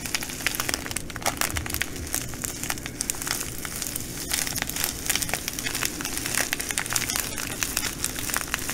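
Long nails pinch and scratch a clear plastic bag of green glass bugle beads, producing a steady stream of bright, dense crinkling and crackling. Sharp ticks of plastic and shifting beads stay fairly even in loudness across the whole clip over a faint low rumble.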